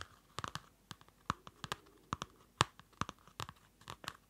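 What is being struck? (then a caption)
Paper notebook with card cover. Fingertips and nails tap a small Field Notes pocket notebook, a solid paper block in a dark card cover, close to the mic. About sixteen short, dry taps and clicks land at an irregular pace, each with a bright papery edge and an almost instant decay.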